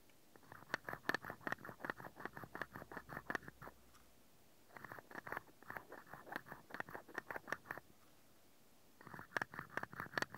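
A small hollow cream-painted wooden toy mascara tube with a dark ring at its open end is held in one hand while the fingertip and nail of the other hand rapidly tap and scratch its side. Three bursts of quick, dry, woody clicks patter with a hollow mid-high tone, separated by short silent pauses.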